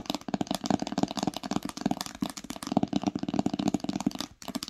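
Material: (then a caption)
Cloth and paper. Long pink acrylic nails tap rapidly on the top cover of an old green cloth-bound hardcover book with a solid paper block, lying flat on a blanket with its spine facing forward. The taps are dull, muffled clicks with a warm low-mid body, each dying away almost at once, in a dense, uneven run with a brief pause near the end.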